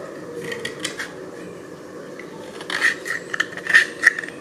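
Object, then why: Slate piece. A thin, solid grey slate piece, held up at an angle by one hand on top of a pile of slate, is scraped across its surface with a small metal blade, raising dust. A soft, steady gritty rasp runs through the first half, then louder, irregular scrapes follow in the second half. The scrapes carry a short, bright squeak around 1.8 kHz.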